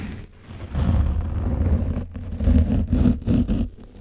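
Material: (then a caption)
Foam. A foam paint brush on a wooden handle is scraped back and forth across the top of an orange foam microphone windscreen coated with dried paint. It makes a dull, low, rumbling scratch in uneven bursts, with almost no high end.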